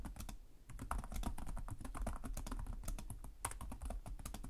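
Both hands type rapidly with their fingertips and short nails on the plastic chiclet keys of a black laptop resting on a desk. A steady stream of quick, dry clicks and taps, each dying away almost at once over a soft low thump, continues without pause through the clip.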